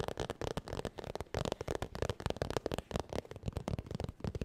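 Long nails tap and scratch quickly across a holographic textured vinyl makeup bag held near the mic. The result is a dense, chaotic stream of short, dry crackling taps and scratchy rustles. Each tap stops almost instantly, and the sound is weighted toward the low end.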